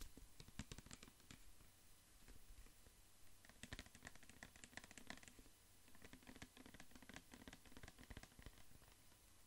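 A clear plastic pump dispenser bottle with a white pump, full of orange liquid, is held in the hand and tapped and scratched with fingertips and nails. Quiet, rapid bursts of sharp, bright clicking taps and scratchy rubbing come in irregular clusters with brief lulls, over a steady low hum. Each tap dies away almost instantly, leaving a dry, crisp patter.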